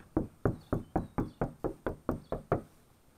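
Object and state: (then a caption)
Car sheet metal panel, deadened after adding sound deadener. On a 2018 Challenger, a sheet metal car panel is knock-tested after one sheet of 120 mil deadener has been added to both pockets. Eleven quick, evenly spaced knocks land as dull, low thuds that die away almost at once with no ringing. The deadened panel sounds clearly different from the bare one.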